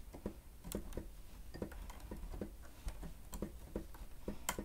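Fingertips of both hands press and tap the keys of a grey plastic stenotype keyboard with a hollow housing while typing. The result is a quiet, irregular run of short, hollow clicks and clacks with a low, thumpy body, each tap dying away almost at once.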